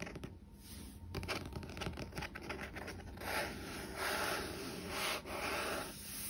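The matte card front cover of a medium paperback novel, The Unbroken, a solid paper block lying on a wooden table, is rubbed, scratched and tapped with fingertips and nails. Soft papery rubbing and scratching textures alternate with brief dry taps and swells of brighter hiss.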